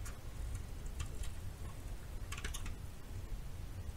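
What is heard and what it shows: A metal knife scrapes and shaves the surface of a solid yellow bar of soap held in the palm. It makes short, bright, crisp scratching ticks that come in small clusters over a steady low rumble.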